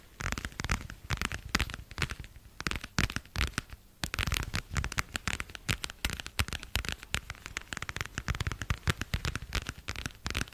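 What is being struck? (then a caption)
Thin flexible vinyl plastic cover. Long nails rapidly tap and scratch a thin, flexible, pale blue translucent vinyl plastic cover. The result is dense, crackly clicks and crinkly scrapes with soft low thumps and bright edges, each sound dying away almost instantly. The sounds come in uneven bursts throughout.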